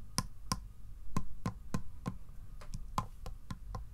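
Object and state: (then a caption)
Wooden treasure box with metal straps. Fingertips and short nails tap across the closed lid of a small hollow wooden chest-style treasure box with pale metal bands and a metal handle, resting on carpet. A steady run of short, dry knocks, each with a low hollow thud and a faint bright click, dies away almost instantly.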